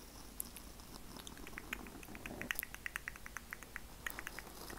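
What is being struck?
Foam microphone windscreen.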